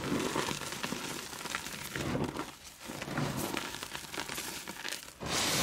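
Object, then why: Reformed gym chalk chunks. Solid chunks of glow-in-the-dark reformed gym chalk are squeezed and crumbled into powder in cupped bare hands with painted nails, over a bowl full of chalk dust. A steady, dense crunching and gritty crackle comes from the crushing and rubbing, briefly easing around the middle before picking up again. It ends in a brighter, louder rush of powdery rubbing.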